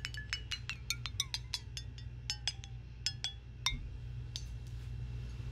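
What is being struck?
Small glass jar.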